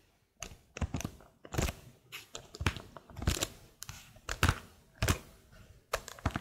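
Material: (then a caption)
Plastic. Long blue nails tap and scratch across the keycaps of a plastic laptop keyboard in close view, making irregular clicky taps mixed with dry scraping. The short, crisp hits carry a low thump under brighter clacks, with faint crinkly scratching between them.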